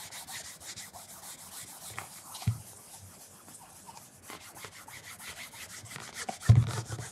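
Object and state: Leather loafer being polished with a cloth.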